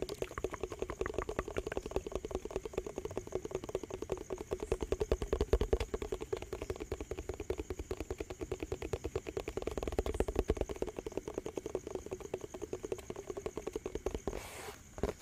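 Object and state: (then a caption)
Plastic tub. A hollow yellow plastic dishwash-bar tub with a printed label and its lid on is held in both hands and tapped fast with the fingertips and nails. It makes a dense, uneven stream of quick, dry, hollow clicks and knocks with a low thud under them. A faint steady high tone runs underneath, and the tapping thins out at the very end.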